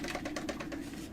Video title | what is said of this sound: Dropped HomePod is Unhappy HomePod :( | some other Tweeter inside has broken loose internally and rattles around when we shake it